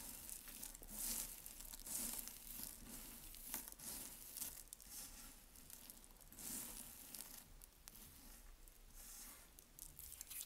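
Fingertips crush, scratch and rub through a heap of dry, crumbly white soap shavings, flakes and small chunks resting on a dark surface. The result is a quiet, steady run of bright, dry crunching and crinkling, with irregular louder bursts that sound almost like tearing.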